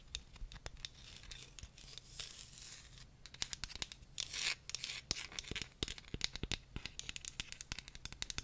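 Long nails scratch and tap a small, solid wooden comb held close to the microphone, then run along its teeth at the end. The sound is a stream of dry, bright scratches and sharp, quick clicks with almost no ring, over a faint steady low hum.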